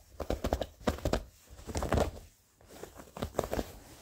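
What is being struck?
Denim jeans fabric.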